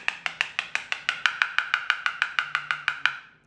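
A ceramic floor tile is tapped 19 times across its surface at a steady pace. Each tap is a short, sharp click with a clear tone near 1.4 kHz plus brighter overtones, dying away almost at once. The tile sounds solid.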